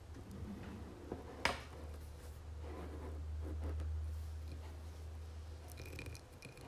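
Long nails tap and scratch a dark blue embossed glass candle jar filled with wax, resting on a marble surface. Soft, dry clicks and scrapes, including one sharp tap, sit over a steady low hum, with a faint high glassy ring near the end.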